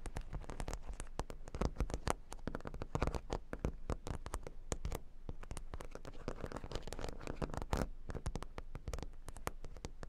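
Long nails scratch quickly over a square cork board covered with plastic faux-pearl beads, heard close up. A dense, continuous run of fast scratchy clicks and rattles, mostly low and muffled with little bright edge, goes on without pause.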